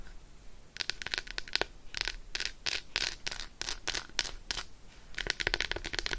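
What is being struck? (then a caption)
Milk chocolate bar scratched with fingernails. Long acrylic nails scratch and rub quickly over the embossed squares of an unwrapped Roshen milk chocolate bar, a solid slab held in the hand. Dry, bright scratching bursts come in rapid clusters with short pauses between them. Each burst is crisp and dies away almost instantly, with little low end.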